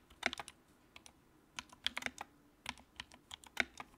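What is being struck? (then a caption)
Plastic mechanical keyboard keycaps. Fingertips type on the keycaps of a compact white plastic mechanical keyboard with a backlight. Fourteen quick, bright, clicky keystrokes come in uneven bursts, each dying away almost instantly with hardly any low end.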